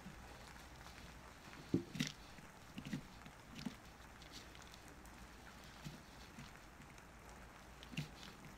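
A small wooden-handled carving knife carves a solid rounded bar of soap held on paper, with a pile of shavings beside it. Soft, short scraping cuts and dull low taps come at irregular intervals over a quiet, steady background hiss, with a brief bright edge on a few of the strokes.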